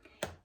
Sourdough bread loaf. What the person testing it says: you can hear that it's Hollow so it's done